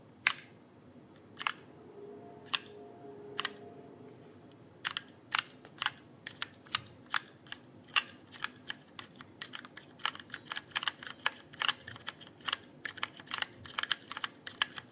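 Fingertips type and tap on the plastic keycaps of a backlit mechanical keyboard held flat. A few spaced, sharp clicks come first over a faint low hum, then the typing picks up into a quicker, uneven run of bright, crisp clacks that die out almost instantly.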